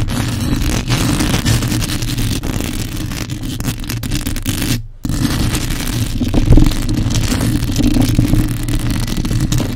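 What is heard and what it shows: Long acrylic nails scratch and fingers grip the bare, hollow metal mesh grille of a black condenser microphone. The result is a dense, continuous scratchy rumble with heavy low-end handling noise. It cuts out briefly about halfway through, then resumes with a louder bump.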